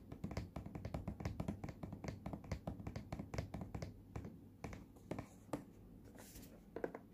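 Fingertips and nails tap and scratch the front and blue side edge of a small, hollow, printed cardboard earphone box. A quick run of short, dry taps carries a low, hollow thump, with softer, brighter scratching strokes in the quieter stretches. Each tap dies away almost immediately.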